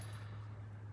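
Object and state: Nothing is struck.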